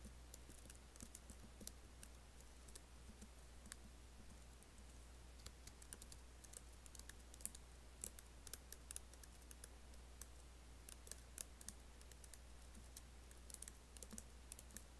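Fingertips and nails tap and type on the black plastic keys of a MacBook keyboard set in an aluminum body. Quiet, bright, sharp clicks come in irregular bursts with almost no ring, over a steady low hum.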